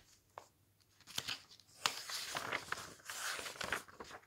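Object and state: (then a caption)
Glossy paper magazine pages being turned. Fingertips turn and flip the thin glossy pages of a large paper magazine lying open on a table, one after another. The paper rubs, flutters and crinkles in bright, dry bursts, starting with a faint isolated tick and growing busier with sharp snaps and rustling after about one second.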